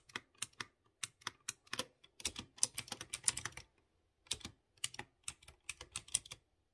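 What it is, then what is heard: Mechanical keyboard typing. Fingertips type on a light blue plastic mechanical keyboard with round chrome keycaps over clear-housed blue switches. Bright, sharp clicky taps come in quick bursts, with a denser flurry in the middle and a short pause before typing resumes. Each click dies away almost at once.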